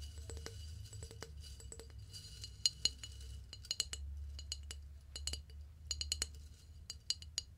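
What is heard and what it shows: A flower vase is tapped in a quiet, no-talking binaural recording, producing a steady series of light, bright clinks with short ringing tones. The taps come in irregular clusters over a low background hum, with several sharper, louder strikes standing out.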